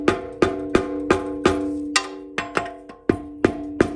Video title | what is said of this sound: Ford C6 Rebuild, Part 2: Final Assembly | once you hear that solid thud, you know it's more or less all the way seated